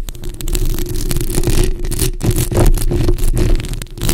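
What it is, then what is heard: Metal mesh microphone grille being scratched. Long acrylic nail tips on both hands scratch across a bare, hollow, black metal mesh microphone grille. The result is a dense, continuous, rumbling scrape, heavy in the low end with a steady low hum, and its loudness rises and dips with the strokes.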